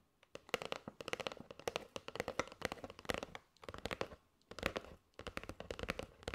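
Long nails tap and scratch across the face and edges of a flat kraft cardboard box with a clear plastic window, full of striped paper straws. Dense bursts of quick, dry clicks and crackly scratches come in clusters separated by brief pauses, with a hollow midrange knock and bright papery edges.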